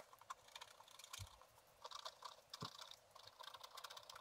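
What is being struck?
Wax-coated scratch art paper scratched with a wooden stylus.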